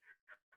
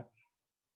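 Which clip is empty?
The second.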